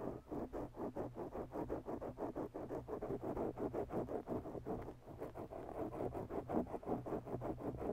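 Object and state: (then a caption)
Foam microphone windscreen being scratched. The tips of long, bare natural nails on both hands scratch a soft, oval black foam windscreen on a microphone. About twenty quick, muffled scratchy strokes repeat in a steady rhythm, with close, mid-toned rasps over a faint low hum.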